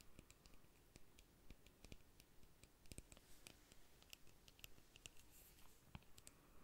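Fingernails tap and click on a small, slim pink-red plastic lip gloss tube filled with product. The result is a quiet, irregular patter of short, sharp, bright clicks that stop dead with no ring, over a soft low background hush.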